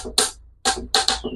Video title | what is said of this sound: BATONG KALAWAKAN BA ITO O KAHOY NA NAGING BATO? | Ito ang tunog ng bato.